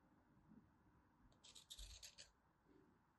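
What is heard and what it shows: A craft knife held in hand scrapes and cuts a solid, pre-scored green-and-white striped bar soap, sending crunchy chips falling off. A quiet scraping start gives way to a burst of bright, crisp crackling in the middle, then settles back into soft scraping.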